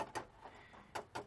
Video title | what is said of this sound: 73 Maverick first (legal) drive in TWO YEARS! (It's still broken) | the old one this thing is solid